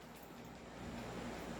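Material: Nothing is struck.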